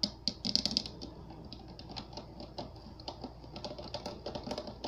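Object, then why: Water-filled plastic globe with gel beads. Fingernails on both hands tap and scratch the curved surface of a clear plastic globe filled with water and Orbeez, resting on an LED base. A burst of louder, bright clicking taps opens the clip, then settles into a softer, steady stream of quick ticks and light scratching with very short ring.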